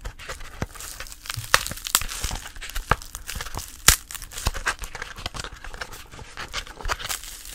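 A dried, brown, hollow-celled lotus seedpod with seeds sitting in its holes is tapped and scratched across its pitted face with long polished nails. Dry crinkly scratching runs throughout, broken by sharp, short clicking taps with no ring.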